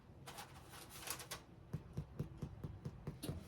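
Homemade bread loaves, baked 30 minutes at 350°, are tapped right out of the oven after a burst of rustling. Eight short, hollow, low thuds follow in a steady run. The loaves sound done.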